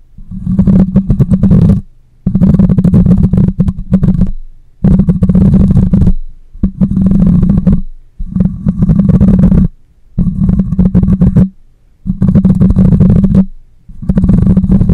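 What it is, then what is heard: Metal mesh microphone grille being scratched. Long nails scratch the side of a black microphone's metal mesh grille in eight separate bursts of rough, rasping scraping with short pauses between them. Each burst is a dense, close-up rumble with a strong low hum around 200 Hz and faint bright scratchy detail above it.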